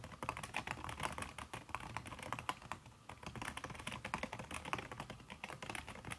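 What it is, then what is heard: Silicone-covered laptop keyboard. Fingertips and long red nails type quickly on a backlit aluminium laptop keyboard fitted with a red silicone key cover. The result is a steady, rapid stream of soft, muffled taps with bright clicky edges, each one dying away almost instantly.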